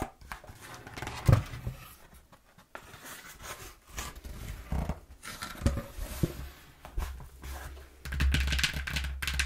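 Long nails tap on a brown corrugated cardboard box, giving quiet, dull taps with soft thuds and a papery rustle. Its flap is then lifted and handled, and the last second and a half becomes a louder, steadier scraping rustle.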